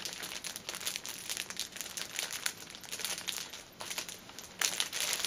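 Fingertips and nails press and crinkle the plastic film wrapping a cellophane-wrapped stack of filled paper pocket tissue packets, then the hands lift the pack. A steady run of bright, dry crackling fills the clip with almost no low end, swelling into a louder, denser burst of crinkling near the end as the pack is lifted.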